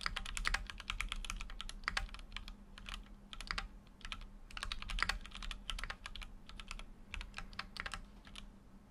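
Continuous fingertip typing on a full-size Keychron Q6 mechanical keyboard with an aluminum case and plastic keycaps. Rapid, bright clicky keystrokes come in bursts over a steady low hum.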